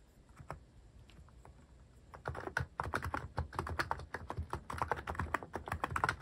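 Fingertips type on a cream mechanical keyboard fitted with sculpted plastic cat and paw keycaps. A few soft, sparse taps in the first two seconds give way to faster, louder typing. Each keystroke is a short, dry clack with a mid-pitched click and a low thump.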